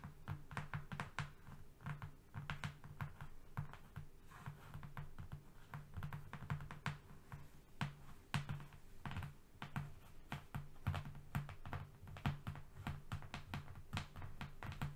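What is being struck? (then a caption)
Flat corrugated cardboard sheet. Both hands tap fast with their fingernails on a long, thin, flat strip of brown corrugated cardboard (not a box) lying on a fluffy rug. A dense, steady stream of quick, dry clicking taps, each dying away almost at once, sits over a low, steady hum for the whole clip.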